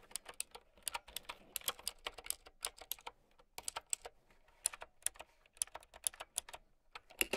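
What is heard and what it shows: A plastic mechanical keyboard with round keycaps is typed on with long nails, producing a rapid, uneven stream of sharp, bright clacks with almost no low end. Each click is dry and dies away almost instantly, with a brief pause in the typing about midway through.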